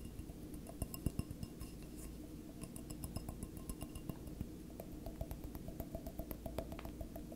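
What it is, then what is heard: Stemless wine glass tapped. Fingertips and nails tap the hollow body of a single clear, empty stemless wine glass tilted on its side, making a quick, irregular run of light glassy clinks and ticks. Each tap dies away almost at once, with bright short pings over a steady low hum.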